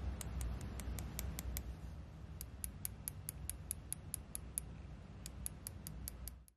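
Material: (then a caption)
Plastic, metal. A fingertip taps and rubs the metallic stem touch-control panel of a small hollow EGGEL Steelbuds Pro TWS wireless earbud with a dark plastic body, held between thumb and fingers. About 25 quick, short, bright ticks land at an uneven pace over a steady low rumble that fades out at the end.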